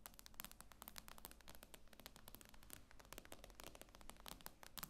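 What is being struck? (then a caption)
Tablet with glass screen. Long nails tap rapidly on the glass screen of an iPad lying flat, producing a dense stream of short, crisp clicks with bright, sharp tops. Each tap dies away almost instantly over a faint low hum.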